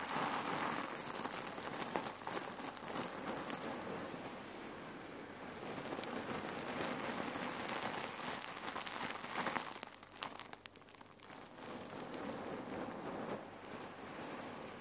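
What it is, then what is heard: Fabric pillow filled with cherry pits. Fingertips and long nails press, tap and scratch the bulging filled part of a folded red cotton neck warmer pillow filled with cherry pits. The result is a dense, steady rattle of small pits shifting and crunching under the fabric, with bright scratchy crackles and quick soft taps, briefly dropping quieter midway before picking back up.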